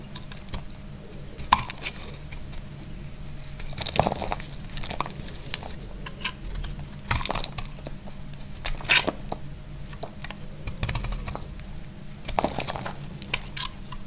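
A utility blade cuts crunchy shavings off a solid, hand-sized dry yellow soap bar. Sharp, dry crunches and scrapes break out over a low steady hum, with the loudest cuts standing out around the 1.5, 4, 9 and 12.5 second marks. Each cut is bright and brief and dies away almost at once.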